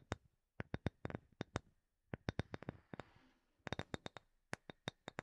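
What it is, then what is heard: Wooden object. A third wooden object is tapped for ASMR, giving around twenty quick, dry taps in uneven bursts with short pauses between them. Each tap is crisp and short-lived, with a soft low thump under a bright clicky top, and a faint hiss fills the gap around the three-second mark.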